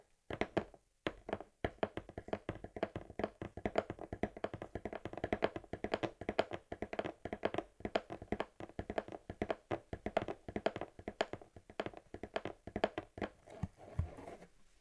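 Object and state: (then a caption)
Cardboard shipping box tapped. Long nails tap rapidly on the flat printed side of a hollow USPS Priority Mail cardboard box held steady. The result is a quick, uneven stream of short, dry, hollow-sounding taps centered in the midrange, each dying away almost instantly. The tapping pauses briefly near the start and trails off softer at the end.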